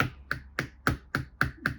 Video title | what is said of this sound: Most Affordable Ryzen RTX 3070 Laptop yet? ASUS A15 Unboxing | if you hear the sound it's hollow sort of plasticky